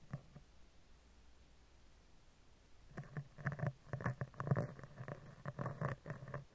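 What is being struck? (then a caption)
Woven-wire metal microphone grille. A black spoolie brush with a clear handle scratches and brushes across the hollow, round woven-wire metal mesh grille of a microphone. After about three seconds of quiet low hum with a faint early tick, a run of close, irregular scratchy brushing strokes begins, dull and heavy in the low end with a soft, rumbling texture. Each stroke cuts off quickly.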